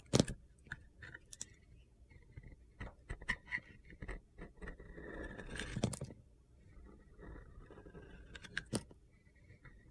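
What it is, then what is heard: Bar of soap carved with a blade. A metal utility knife blade carves into the white interior of a solid Ivory bar of soap with gold glitter, and chips flake off. Short, crisp scraping cuts and clicks come in uneven bursts, with a longer, steadier gritty scrape around the middle.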